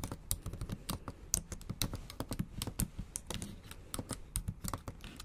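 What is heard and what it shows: Long acrylic nails type fast on the black plastic keys of a MacBook Pro keyboard set in an aluminum body. The result is a rapid, uneven run of short, dry clicks and taps with bright edges and a soft low thump beneath, each one cut off almost instantly.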